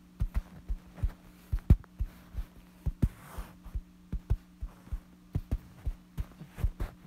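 Several fingertips tap and scratch a light fabric bedsheet lying flat, close up. The result is a run of soft, dull, low thumps at an uneven pace over a steady low hum, with faint brushy scratching between the taps.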